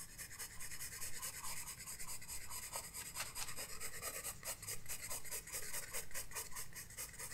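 A graphite pencil rubs and scratches across a flat paper sketchbook page during shading. Quiet, bright, rasping strokes repeat in an uneven rhythm, a little over two per second, over a soft low rumble.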